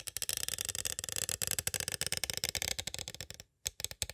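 A small, hollow, clear plastic cassette tape case is tapped on its sides with two green plastic stick tools. The result is a rapid, steady run of bright, crisp clicks with almost no ring. The taps break off briefly near the end and then resume.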